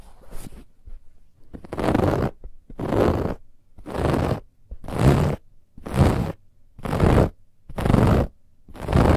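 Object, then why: Stuffed fabric pillow with woven texture. Long nails scratch hard and quickly across a soft, stuffed white fabric pillow with a woven textured band. After a few light, quieter scratches, the clip settles into about eight long, raspy strokes, one roughly every second, each a dense, dry scraping burst with a low, muffled body.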